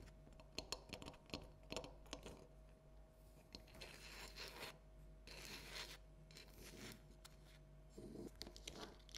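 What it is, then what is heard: Hollow plastic jack-o'-lantern. Long nails tap and scratch on a small, hollow, orange plastic light-up jack-o'-lantern decoration. Sharp, clicky taps alternate with stretches of bright, rasping scratches over a faint steady hum.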